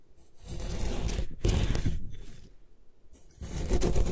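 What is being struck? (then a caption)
Compressed gym chalk block. A solid white compressed gym chalk block, held in a long-nailed hand, is scraped along its side by a metal putty knife that slices flakes away. Heard are rough, gritty scraping strokes in several bursts, heavy in low rumble, with quieter gaps between passes.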